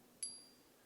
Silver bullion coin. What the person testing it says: 가품을 가지고 이렇게 때리면 안 나와요